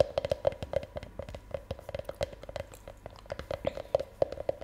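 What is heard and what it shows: One hand holds the empty half shell of a hollow milk chocolate Easter egg, about hand-sized, while long nails tap its outer surface. It makes a quick, irregular run of light clicking taps, each with a short hollow ring in the mid range and almost no low or high content. Every tap dies away almost at once.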